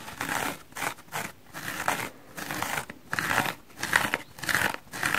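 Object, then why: Foam kitchen sponge. A hand-sized, soft and solid dry porous foam kitchen sponge, striped in red, yellow and blue, is held in one hand while manicured fingernails scratch its coloured surface. The result is a series of short, dry, crinkly scratching bursts with brief pauses between strokes, bright and papery with little low end.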